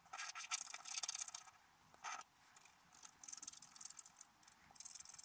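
A wooden stylus scratches branch lines into a black-coated scratch-art paper card held flat. The result is a run of dry, bright, raspy scratching bursts with quiet pauses between strokes and almost no low end.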